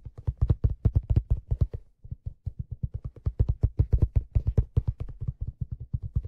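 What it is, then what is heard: Leather fedora hat tapped. Fingertips tap the brim and crown of a hollow, empty black leather fedora held brim-forward, with a stitched brim edge. About 46 quick, dull, low thumps come in a steady patter, with a brief pause near the two-second mark. Each tap is soft and deep, with almost no ring and no bright edge.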